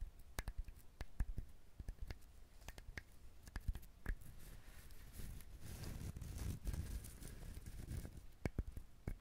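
Fingernails scratch the fibrous shell of a whole brown husked coconut held close to the recorder. Quiet, dry scratching and crinkling runs throughout, with many short, sharp ticks and a denser rustling stretch in the middle, heavy in low thumping tones.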